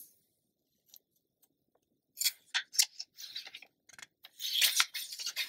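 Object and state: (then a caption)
Glossy paper magazine. A hand flips a thin page of an open glossy paper magazine while long nails rest on and rub the pages. After a near-silent start with faint ticks, bursts of bright, crisp paper rustling and swishing build to a louder crackling stretch at the end, with no low rumble.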